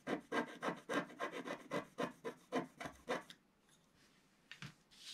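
A wooden stylus scratches the wax coating of a flat scratch art paper page near the bottom of the picture, making 16 dry, raspy strokes. The first three seconds bring quick rhythmic rubbing strokes, then near-silence, then a few faint scratches at the end.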